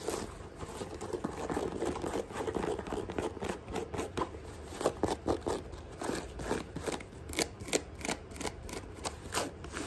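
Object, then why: Rubber sneaker sole. Long nails rapidly tap and scratch across the chunky tread blocks of a thick white rubber sneaker sole held up toward the camera. The result is a dense run of dry, quick clicks and raspy scrapes, centered in the midrange around 500 Hz. Each tap dies almost instantly, with no ring.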